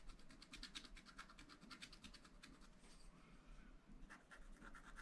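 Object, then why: Wax-coated scratch-art paper scratched with a wooden stylus. A wooden stylus scratches lines into the black coated sheet of a scratch-art paper pad, near a drawing of a car. Quick, dry scratching strokes repeat in rapid bursts with a bright, raspy hiss peaking near 3.9 kHz, over a soft low rumble. The strokes ease briefly around the middle before picking up again.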